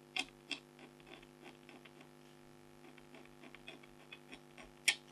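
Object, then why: Black-coated scratch art card scratched with a stylus. A red-handled stylus scratches short strokes across a flat, thin, black-coated scratch art card while the other hand steadies the sheet. The strokes come as soft, bright, scratchy rasps, a few sharper ones standing out at the start and near the end. A steady low hum runs underneath throughout.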